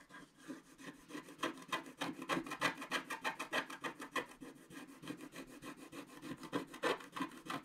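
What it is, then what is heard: Scratch art paper being scratched. A wooden stylus scratches the left side of a black wax-coated scratch art card lying flat. Quick, dry, raspy strokes repeat at a steady pace of roughly three per second, each a short bright scrape with no ring. The scratching stays quiet and continuous throughout.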